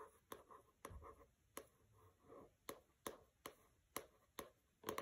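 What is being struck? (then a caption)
Hardcover book with matte paper dust jacket. Fingernails scratch and tap on a pink hardcover book with a matte paper dust jacket resting on a carpet, and the jacket slides slightly. Sharp, bright taps ring out at irregular intervals between soft, papery scratching swells.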